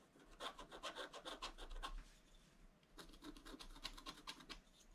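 A wooden stylus scratches lines into the centre area of a black-coated scratch-art paper page, making a run of quick, bright, rasping strokes. The scratching pauses briefly in the middle, then resumes with another rapid series of strokes.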